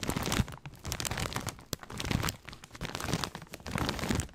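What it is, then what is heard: Plastic snack bag of corn rings. A large plastic snack bag full of corn rings is held up and squeezed and crinkled with the fingertips, producing dense, close crinkling and crunchy rustles with soft low thumps. Bursts of bright plastic crackle swell and fade, with one sharp snap partway through.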